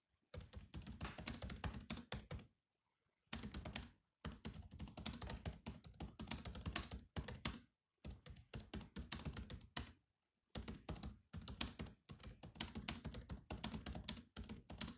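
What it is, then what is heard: Plastic laptop keyboard. Fingertips of both hands type on the black plastic keys of a grey laptop keyboard. Rapid bursts of short, dry clicks with a soft low thump and a bright tick are broken by brief pauses. Each tap dies away almost at once.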